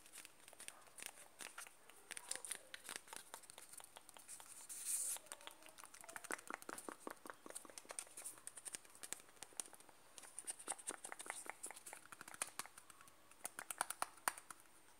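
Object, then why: Plastic cream jar. Fingertips tap and rub the side and base of a closed white plastic Nivea cream jar. Quick, dry, bright clicks come in dense, irregular bursts with no ring after each one. Softer rubbing swishes and crinkly scratches fill the gaps between them for the whole clip.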